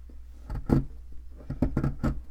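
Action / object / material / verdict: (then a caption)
scrape / plaster excavation block scraped with a metal pick / plaster / none. A thin metal pick scrapes and scratches across the surface of a solid white plaster fossil excavation block. Short, dry, gritty scrapes come in bursts over a low, steady hum, with no ring after each stroke.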